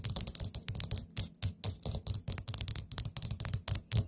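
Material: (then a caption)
Ceramic. Long nails tap quickly on the lid of a small orange glazed ceramic pumpkin-shaped candle pot with a gold stem lid. About twenty short, dry clicks come in an uneven rhythm, each with a bright high tick over a soft low thud and almost no ring.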